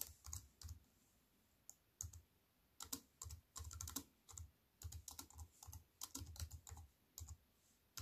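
Fingertips with long nails type on a slim wireless keyboard with plastic keys in an aluminium frame, resting on a wooden table. Irregular bursts of short, crisp taps each pair a soft low thud with a bright click, separated by brief quiet pauses.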